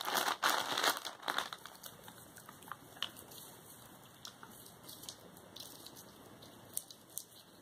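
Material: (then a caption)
Plastic. A white plastic poly mailer with a label, filled with soft contents, is handled as fingertips with painted nails pick at the taped seam and press the plastic. Loud, bright crinkling bursts in the first second and a half give way to quieter, scattered crackles and small clicks.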